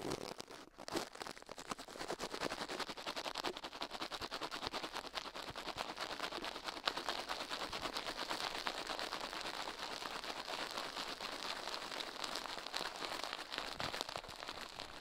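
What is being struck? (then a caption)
Silicone ear on a microphone, scratched with toothbrush bristles. Toothbrush bristles scratch the left soft silicone ear of a binaural microphone, mounted on a metal mic plate, in rapid, dense strokes while the other gloved hand stays still. The result is a continuous, bright, crackling scratch with almost no low end. After a brief quiet start, it holds a steady level through the clip.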